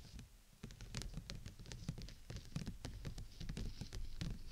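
Long nails tap rapidly on the thin canopy of an open, transparent PVC dome umbrella held over the microphone. The result is a quiet, dense patter like rain, with dull low thumps and short bright clicks that stop almost at once.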